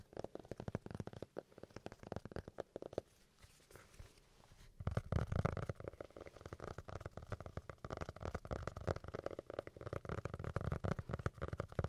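A paper notebook is tapped with quick, rapid taps that make soft, dull, low thumps with a faint papery tick. The tapping eases into a quiet lull around three to five seconds, then resumes denser and louder until the end.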